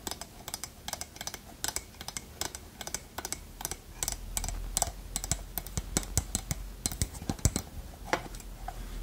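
A small hollow wooden pot with a lid is tapped and scratched with long nails, producing a quick, uneven stream of sharp, bright clicks and short scrapes. Each tap dies away almost instantly over a steady low hum, with a slightly louder, denser stretch from about the middle of the clip onward.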